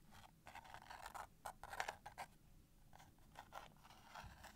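Long painted nails scratch and tap the sides and edges of a small, closed cardboard matchbox full of wooden matches, including near the striking strip. The result is a string of quiet, dry, papery scrapes and short taps, centered in the midrange with some bright hiss and almost no ring.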